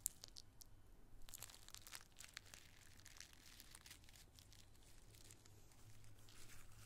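A bunch of small, thin, multicolored tissue paper squares is crushed and crinkled in a fist and cupped hands, then rubbed between the fingers. The result is quiet, bright, papery crackles and rustling bursts, with a faint steady low hum underneath.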